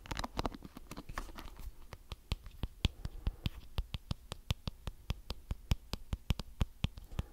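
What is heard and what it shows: Fingertips flick and scratch the many thin colored plastic bristles of a small round blue plastic detangling brush held close to the mic. A fast flurry of crisp scratchy ticks at the start settles into a steady run of sharp, evenly spaced clicks that are bright and dry with almost no ring, over a soft low rumble.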